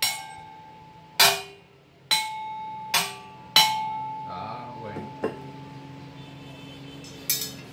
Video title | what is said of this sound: Bộ bình đồng. Ngày 04/10/2019. LH: 0988.19.03.03. Quỹ "Lá lành đùm lá rách". | đồng là nghe tiếng nó vang đó. Đó, vang.